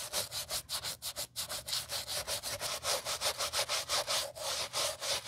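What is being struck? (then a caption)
Leather sneaker scrubbed with a bristle brush. A gloved hand scrubs the lower side and sole edge of a white leather Gucci Ace sneaker with a wooden-handled bristle brush during restoration. About twenty quick back-and-forth strokes produce a bright, hissy, rhythmic scratching with almost no low end. Each stroke stops short with no ring.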